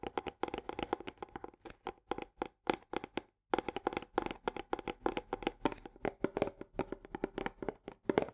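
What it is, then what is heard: Paperboard canister with plastic lid. Long nails tap rapidly on the rim of the green plastic lid and the upper wall of an Orzo Bimbo barley paperboard canister, first with one hand and then with both. The result is a dense run of short, dry, hollow clicks with a mid-pitched body and almost no ring. A brief pause comes just past three seconds, and the tapping then resumes faster and slightly louder.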